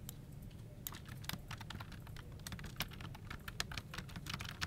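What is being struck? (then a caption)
Plastic computer keyboard. Both hands type continuously with their fingertips on a full-size plastic office keyboard resting on a desk, its hollow plastic case holding the key switches. Dense, fast key-press taps sound as short, bright clicks with almost no ring, over a steady low background rumble.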